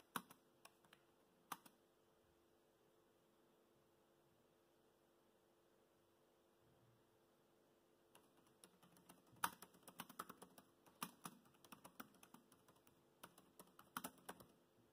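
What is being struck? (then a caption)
Plastic laptop keyboard. Bare fingertips of both hands type on the black plastic chiclet keys of a dark grey laptop keyboard, whose hollow, shallow key switches give short, light clicks. A few isolated taps open the clip, followed by a quiet pause of several seconds. Then a dense run of quick, crisp keystrokes continues to the end.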